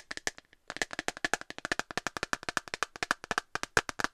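An empty, thin, hollow, transparent plastic phone case with a dark rim is held in the hand and tapped quickly with long nails. About 35 light, sharp clicks follow one another, each dying away almost at once, with a bright, hollow tone near 1.6 kHz and very little low end. A brief pause near the start breaks up the otherwise steady tapping.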